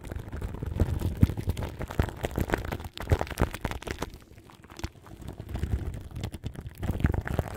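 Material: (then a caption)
Plastic film. Long nails scratch the crinkly plastic film wrapped around the grille of a large microphone. The sound is a dense, muffled, low-heavy crackle of rapid, irregular rustles and scrapes. It dips quieter for about a second in the middle, then picks back up.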